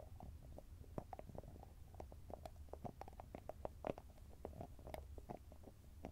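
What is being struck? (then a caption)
Small cosmetic jar with metal lid. Fingertips and nails tap rapidly on the top and edge of a small round cosmetic cream jar, which has a grey body and a shiny metallic lid. The quiet, dry taps come in quick, uneven succession, each with a short clicky ping around 560 Hz that dies away almost instantly. A steady low rumble runs underneath.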